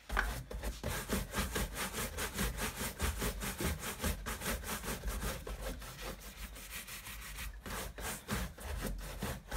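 A wooden-backed bristle brush is rubbed briskly back and forth by hand over the leather upper of a tan leather high-top Converse sneaker, hollow inside and hung on a wall rack, during cleaning and conditioning. The result is a steady run of dry, rasping scrub strokes at a quick, somewhat uneven pace, with a bright bristly hiss over a low, soft brushing body.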